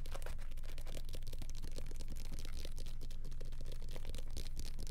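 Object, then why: Paperback book with glossy paper cover. Fingertips rapidly tap and scratch the glossy paper cover and pages of a small, solid paperback copy of The Boxcar Children, held close to the mic in both hands. The result is a quick, fairly steady stream of soft, dry ticks and scratches over a low, heavy rumble.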